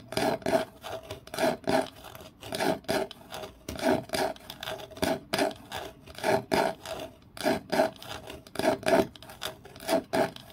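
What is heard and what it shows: Long nails scratch and rub along the surface of a light-colored wooden kitchen utensil, a flat solid wooden piece held in the hand. Dry, rasping strokes come in short bursts, often in quick pairs, with brief quiet gaps between them in a loosely steady rhythm. The sound sits mostly in the midrange, with little deep bass and little high hiss.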